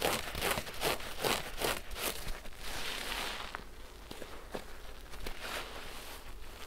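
A large, pink, porous synthetic foam sponge, soaked and covered in soap lather, is squeezed and squished by both hands and fingertips over a basin of suds. The first half brings a rhythmic series of wet, crackly squelches with bright, hissing bubble noise. These then settle into a softer, steady fizz of popping lather, broken by occasional sharp little clicks.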